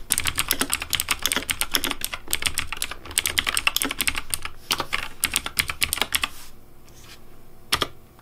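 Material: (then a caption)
Plastic. Fingertips type quickly on the hollow plastic keycaps of a pink Razer Deathadder V3 plastic mechanical keyboard. The result is a dense run of sharp, bright clicks over a light low thud. The typing pauses near the end, followed by one final keystroke.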